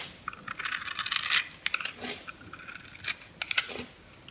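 A metal knife cuts into the grid-scored surface of a solid mint green bar of soap held in the palm, slicing it into small cubes. Crisp, crunchy scraping and cutting sounds come in short bursts, bright and high with almost no low end, and each stroke stops dry with no ring.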